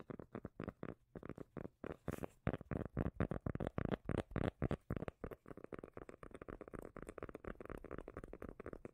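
A round cork lid is held edge-on in one hand while the long nails of the other hand tap and scratch the cork. The result is a steady run of quick, dull, low-pitched taps in uneven bursts, mixed with soft scratchy rasps, with short pauses in between and no ring after each hit.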